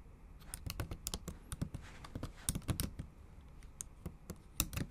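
Long acrylic nails type on the plastic keys of a bare, backlit MacBook Pro keyboard. Quick, irregular clicks sound out, each a sharp, bright tap over a soft low thud that stops almost at once. The typing is quiet and steady, with a few louder taps.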